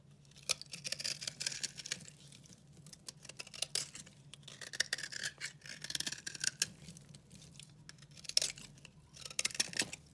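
A solid, dry pink-red soap bar held in the hand is scraped and shaved with a metal utility-knife blade, peeling off curls and flakes. The scraping comes as bright, crisp, dry strokes in bursts with short pauses between them, over a faint low hum.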